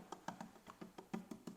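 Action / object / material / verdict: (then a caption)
tap / fiberglass boat transom / fiberglass / poorly bonded. Eight quick taps on a localized area of a fiberglass boat transom give short, dull knocks that die away almost at once, with a low pitch around 220 Hz. That one spot sounds poorly bonded, where the glass did not stick well: not quite hollow but poorly adhered.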